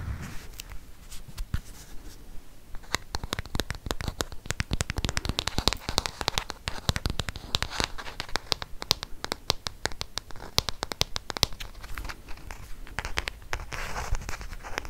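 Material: Plastic.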